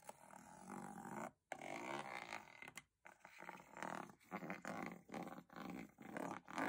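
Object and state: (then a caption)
Aluminium case lid. A small bristle spoolie brush scrapes across the diamond-textured aluminium lid of a hollow metal box. It makes a run of raspy, buzzing strokes with a low hum-like tone, separated by brief pauses.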